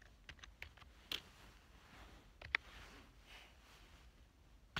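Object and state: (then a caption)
Plastic computer keyboard. Fingertips type on a black plastic full-size keyboard lying on a couch, producing seven short, quiet, bright key clicks. The clicks are irregularly spaced, with a cluster early on, a pair in the middle and one at the end. Each click dies almost instantly over a soft, steady background hiss.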